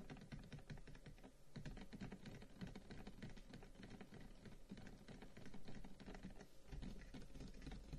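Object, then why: Carved wooden incense box. A long, hollow, carved wooden incense box lying on a table is tapped rapidly with the fingertips of both hands, like typing. The result is a quiet, steady patter of soft, hollow, woody clicks that blur into a continuous clatter. The sound is mostly low, with short-lived taps that die away quickly.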